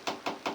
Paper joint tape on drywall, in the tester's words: when I tap on it, you can feel the hollowness here